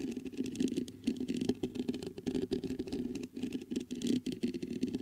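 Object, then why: Metal microphone mesh grille. Fingertips scratch and tap the mesh grille of a black metal USB condenser microphone. A dense, continuous run of quick scratchy taps and rustles rings off very briefly, with a warm low-mid body and a bright, hissy edge.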